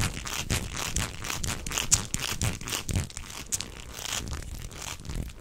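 A beige, hollow, corrugated plastic tube, bent into a hook shape, is flexed and twisted in both hands while the fingers rub its ribbed surface. It makes a dense, uneven run of bright crinkling, ridged clicks and rustles over a soft low rumble, with a few sharper snaps.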